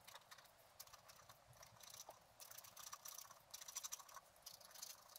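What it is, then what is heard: Scratch art card being scratched. A thin wooden stylus held in the fingers scratches lines into a flat scratch-art card, black wax-coated paper over colored foil, lying on a table. The scratching is continuous, a quiet, bright, dry rasp made of many short strokes with almost no low end.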